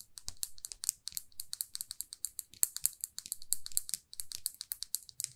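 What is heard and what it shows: Long manicured fingernails tap and scratch all over a small, closed, solid lacquered lipstick tube, a glossy red case with a silver band. The result is a quiet, steady stream of dozens of crisp, bright clicks and scratchy strokes, each dying away almost instantly, like light typing.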